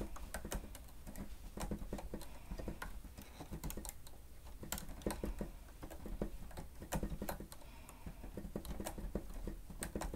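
Grey plastic stenotype machine keys are pressed rapidly by the fingertips of both hands. The result is continuous, quick typing taps: short, dry clicks with a low, thumpy body and occasional bright ticks, each dying away almost at once.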